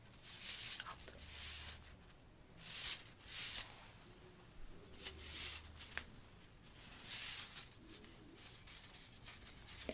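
A kinetic flow ring toy made of thin steel strips is twisted, squeezed and shaken between fingertips and long nails close to the microphone. The strips rub and click together in seven bright, hissy bursts of metallic rustling, separated by quiet gaps with faint low rumble.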